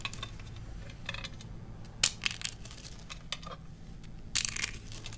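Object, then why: Soap shavings. A pile of thin, brittle green dry soap shavings is crushed: first a single curl between the fingers, then handfuls of flakes squeezed in both hands. Crisp, bright crackling crunches come in short bursts, the loudest near the middle and end, over a faint steady low hum.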